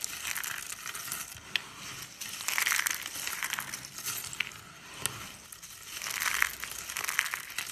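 Bare fingers and palms crush and rub together a pile of thin, dry, solid pale-yellow soap flakes and curls on a speckled countertop. The result is dense, bright crunching and crackling that swells and fades in waves, with occasional sharper snaps standing out.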